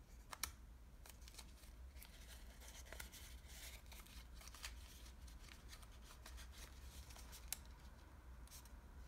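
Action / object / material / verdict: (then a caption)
scrape / small origami model of thin washi paper / paper / none. Fingertips fold, crease and rub the edges of a small layered origami model made of thin green patterned Japanese washi paper. Soft, crisp paper rustles and brief bright crackles come and go, with a few sharper snaps near the start and later on. A steady low hum sits underneath throughout.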